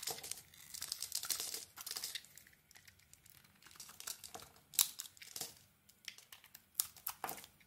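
A metal blade scrapes and shaves the dark green dotted coating off a solid white soap bar held in the hand. The sound is a quiet, bright, crinkly scraping in a run of short, dry bursts with no ring. Louder flicks stand out as the coating peels away.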